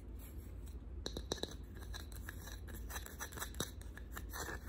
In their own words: 4:58 Tapping on wooden box